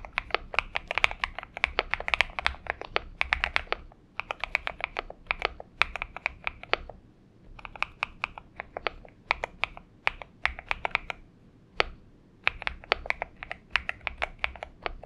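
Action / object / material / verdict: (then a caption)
tap / mechanical keyboard with aluminium case and plastic keycaps / aluminium, plastic / none. Fingertips of both hands type continuously on a purple-backlit Xinmeng M71 70% mechanical keyboard with an aluminum case and PBT keycaps, resting on a desk mat. Rapid, crisp, bright clacks come in quick bursts separated by brief pauses, each keystroke short and dry with almost no ring and little low-end thump.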